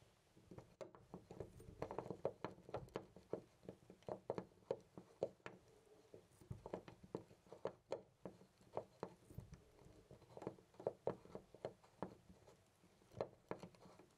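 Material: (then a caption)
Brass. A loose brass-colored metal door knob on a white door is jiggled and rattled by hand with the fingertips. It makes a steady stream of quick, quiet clicks and light metallic rattles that die away almost instantly, with a midrange tone and little low or high content.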